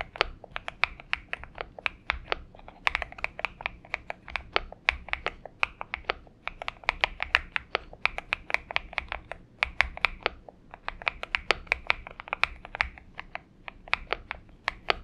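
Fingertip typing with both hands on a purple Xinmeng M71 mechanical keyboard with PBT keycaps. It produces a steady stream of short, sharp, bright clacks with a tone centered around 2 kHz, broken by a few brief pauses, over a faint low background hum.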